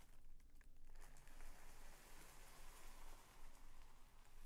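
A purple tissue paper sheet folded into a long strip on a bedspread is folded with fingertips and palms, then pressed and smoothed. Soft, steady crinkling and rustling runs throughout, with a low rumble underneath, like light patter.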